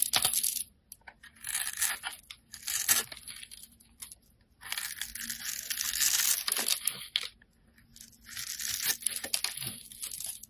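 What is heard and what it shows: A metal utility blade scores and scrapes a handheld solid teal bar of soap, leaving crumbly cubes. Bright, crisp scratching and crackling comes in bursts separated by short quiet gaps, with a long stretch of steady scraping in the middle.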